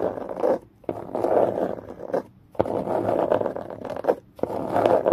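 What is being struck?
Cardboard box.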